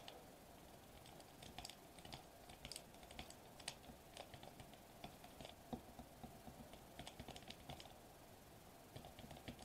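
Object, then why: Foil-laminated plastic bubble wrap sheet. Fingertips tap rapidly on a sheet of foil-laminated plastic bubble wrap lying flat on a table. The result is quiet, dry clicks in bursts with a bright crinkly edge and a faint steady tone near 700 Hz. The taps stop sharply, pause briefly near the end, then resume.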